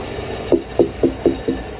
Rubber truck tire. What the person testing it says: Aman. Suaranya nyaring begitu aman